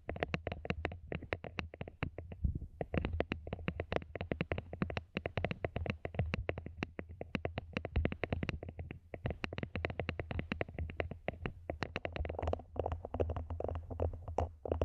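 Long manicured nails tap rapidly and continuously on a small, empty, matte black hollow plastic mini planter pot placed upside down over the microphone. The taps are short, dry clicks over a deep, boomy, hollow low-end thump that dies away almost instantly.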